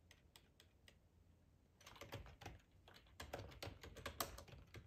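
Fingertips type on the keys of a black plastic split ergonomic keyboard with a hollow body. A few soft, spaced taps give way to faster, louder bursts of short, bright clacks with a hollow low knock underneath.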